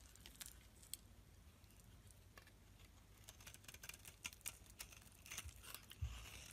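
A metal blade scrapes fine shavings off a solid black rectangular bar of soap held in the palm, with a white soap bar lying untouched nearby. Quiet, bright, crisp scratching and crinkling bursts come in quick irregular strokes over a steady low hum, each dying away almost instantly.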